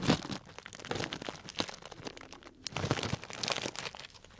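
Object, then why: Clear cellophane bag filled with dried tea pieces. A small tied clear plastic cellophane bag full of dried tea pieces is squeezed and crinkled with fingers. Dense, bright crackling and crunching comes in irregular bursts with a brief quiet dip near the middle, then resumes.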